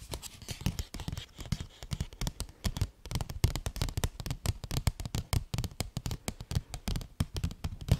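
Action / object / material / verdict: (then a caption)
scrape / paper gift bag / paper / none. Long nails scratch and rub a medium blue paper gift bag with a peacock feather print and ribbon handles, which is hollow and looks empty. Fast, uneven papery scratches and crinkles come in a steady stream, each with a dull, hollow low thump and a faint bright rasp. Every stroke stops dry, with almost no ring.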